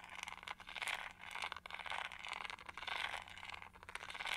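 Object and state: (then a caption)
Textured plastic hair brush. Long nails scratch along the textured edge and bristle base of a pink-gold plastic detangling hair brush held sideways. The result is a steady run of bright, dry scraping strokes that swell and fade in waves, with almost no low end.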